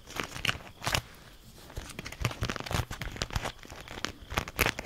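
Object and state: Beeswax food wrap crinkled.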